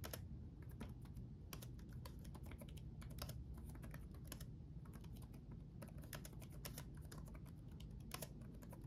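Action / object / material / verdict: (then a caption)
tap / plastic laptop keyboard keys / plastic / none. Both hands type rapidly with their fingertips on the plastic keycaps of a black laptop's backlit chiclet keyboard, which sits on a solid chassis. A steady stream of quick, light, bright key taps clatters over a constant low rumble. The tapping stays quiet and continuous throughout.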